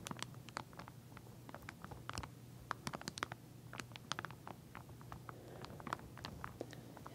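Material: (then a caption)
Plastic. Long nails tap and scratch across the teeth of a pink wide-tooth plastic comb sealed in a clear plastic sleeve and lying flat. The result is a quick, irregular patter of short, dry, bright clicks and crinkly scrapes over a faint, steady low hum.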